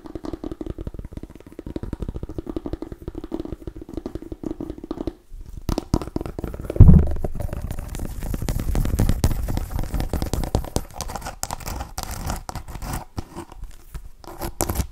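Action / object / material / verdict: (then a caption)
scrape / small mini pumpkin rind / pumpkin rind / none. Long nails scratch and tap on a small cream-and-orange striped mini pumpkin, a hollow gourd. The result is a dense, low, crackling scratch texture with a brief pause just after 5 seconds and a louder, dull tap near 7 seconds before the scratching resumes.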